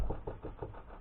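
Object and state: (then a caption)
Solid spot on earth-covered bunker roof. Four dull, low thuds come from knocking or stamping on the earth-covered roof of a bunker, each dying away quickly with no bright ring. This spot is judged solid rather than hollow, though nothing was dug up to confirm it.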